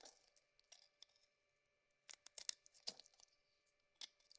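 A cream bar of soap with a rose-gold coating, held in the hand, is shaved with a metal blade, cutting off chunks and curls. Quiet, bright, crisp scraping and crinkly tearing sounds come in short, irregular bursts, with a brief near-silent pause in the middle before a denser cluster of cuts.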